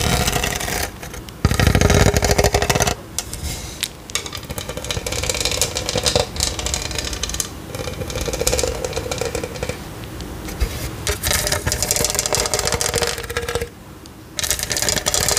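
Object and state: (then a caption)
Studded plastic tumbler, scratched. Long nails scratch the bumpy outer surface of a hollow, studded plastic tumbler with a straw. The result is a dense, rapid, rattling clatter with bright scratchy texture and a low hollow rumble, broken by a few brief quieter gaps.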